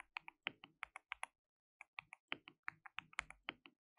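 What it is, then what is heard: Plastic mechanical keyboard. Fingertips of both hands rapidly type and tap on a compact, hollow-cased, white RGB-backlit mechanical keyboard with plastic keycaps, some of them translucent pink. About 21 sharp, bright, clacky keystrokes come in two quick bursts separated by a short pause, each click dying away almost instantly with no low thump.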